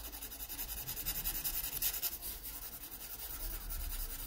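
A yellow wooden graphite pencil rubs and scratches across the paper surface of an open sketchbook lying flat. The quiet, steady rasp of graphite on paper has a bright, hissy texture that rises and falls in quick, uneven strokes throughout.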